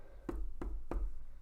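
Fabric stretched tight in an embroidery hoop, after repeatedly tightening the screw and pulling the fabric, is tapped, giving short, dull, low thumps like a small drum. The tapping sound shows the fabric is drum tight and ready to stitch.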